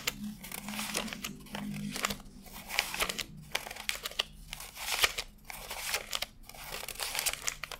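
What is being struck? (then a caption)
Stack of paper banknotes. Fingertips flick and rub one by one through a fanned stack of thin cotton-paper $100 bills on a desk, counting them by hand. The result is a steady run of crisp, bright papery crinkles and snaps with short rustling swishes between them.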